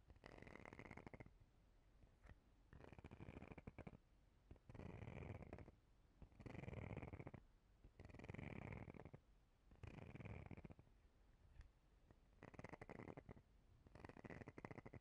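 Long painted fingernails scratch the fine grid texture and ridged side edge of a palm-sized, transparent plastic face cleansing brush. The result is a series of raspy scratching bursts, each about a second long with short pauses between, carrying a steady low rumble and a slight bright edge.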